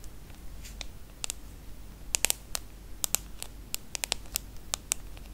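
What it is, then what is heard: Aluminium and glass smartphone. Long nails tap the aluminum back, side frame and glass screen of a small, solid aluminum-and-glass iPhone. About sixteen crisp, bright clicks land at an irregular pace, each dying away almost instantly over a quiet, low background rumble.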